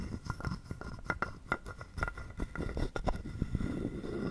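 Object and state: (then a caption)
Wooden frog guiro. A wooden stick is scraped across the ridges of a hollow, carved wooden frog guiro held in the palm. Quick, dry, ratchety clicks come in uneven bursts with a hollow wooden tone and almost no ring. The level stays quiet and close throughout.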